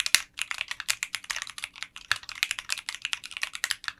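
Fingertips type continuously on a 60% mechanical keyboard with translucent pink polycarbonate keycaps in a clear case. About 27 bright, crisp keystrokes follow each other quickly, each a short clack with almost no ring and little low end.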